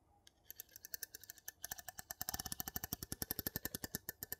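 A gold metal lid on a small glass jar is tapped rapidly with the tip of a wooden spatula. About 37 short, bright, dry clicks follow, quiet and spaced at first, then louder and quicker in the second half, with a low knock under each tap.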